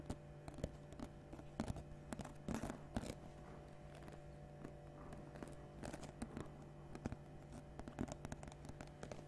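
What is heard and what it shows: A round, hollow woven basket of natural rope or straw with a knobbed lid, medium-sized and apparently empty, is tapped and scratched on its woven surface with long painted nails. Soft, dry scratching and crackling is broken by many sharp, brief taps, over a steady low hum.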